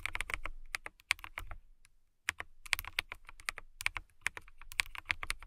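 Long nails type on a clear acrylic mechanical keyboard with transparent RGB-lit keycaps. Rapid, bright, dry clicks come in bursts, with a short pause near the middle. Each keystroke decays almost instantly.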